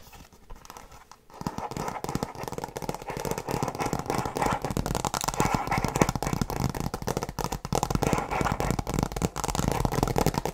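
Long nails tap and scratch the cover of a flat, rigid tablet folio case, faux leather over a hard shell with a printed tree design. After a second of near silence, a dense, steady run of quick dry scratches and clicks continues to the end, crackly and weighted toward low and middle tones with only a little bright edge.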